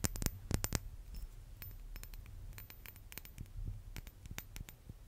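A small, hollow, chrome-silver, silver-plated metal brass-instrument mouthpiece is held in the hand and tapped and scratched with fingernails. The result is an irregular series of sharp, bright clicks and short scratches that die away almost instantly, over a steady low hum.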